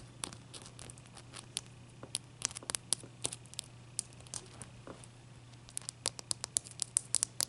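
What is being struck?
Large block of ice.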